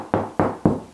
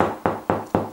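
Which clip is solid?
The second.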